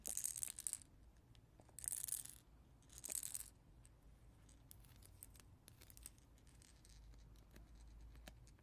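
A hand-sized ring teether shaped like a caterpillar, made of translucent blue plastic segments that appear water-filled, with colored beads and a yellow caterpillar head, is held in both hands and tapped and scratched with natural nails. Three bursts of bright, hissy scratching come in the first few seconds, then quieter, scattered sharp clicks and light scraping follow.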